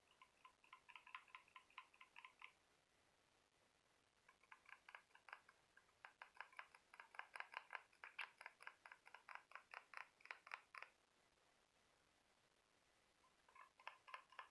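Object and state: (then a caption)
Seashell tapped with fingernails. Fingertips and nails tap and scratch the smooth surface of a small, glossy orange conch or whelk shell, a hollow spiral held in one hand. Quick bursts of light, bright clicking with a hollow, resonant ring sound in three runs separated by quiet pauses. The longest and busiest run falls in the middle.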